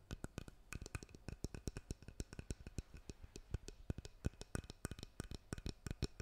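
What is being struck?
Wooden hairbrush handle and back.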